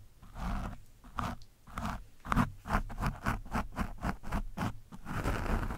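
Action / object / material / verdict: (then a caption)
scrape / foam microphone windscreen scratched with a metal screwdriver / foam / none. A metal screwdriver scratches an orange foam windscreen on a microphone from different angles, producing a run of rough, crunchy scraping strokes. The strokes are low and muffled, heaviest in the low end with little brightness, and they speed up into quick repeated rasps before ending in a longer, steady scrape.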